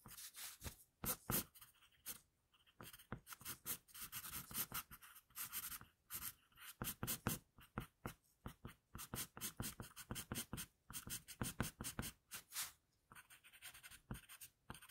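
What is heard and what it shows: An HB wooden pencil, held by the fingertips, scratches repeated shading strokes across a flat sheet of drawing paper. Quick, quiet bursts of dry, bright scratching rasp follow one another in an uneven rhythm, separated by brief silences.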